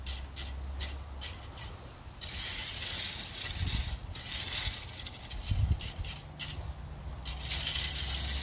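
A red-handled metal fan rake is dragged and scratched through a wide bed of small, rounded tan and white river pebbles, solid and loose, edged by concrete pavers. Its tines make bright, gritty scraping and rattling clatter as the stones shift, in repeated strokes with brief pauses. A steady low hum runs underneath.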